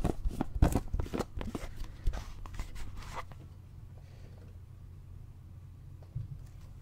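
Fingertips tap and grip the sides of a clear plastic drinking bottle with an inner straw and a grey lid with a yellow handle, partly filled with water. Quick, uneven crinkly taps and soft plastic crackles fill the first three seconds, then fade to a quiet low hum with one faint tap near the end.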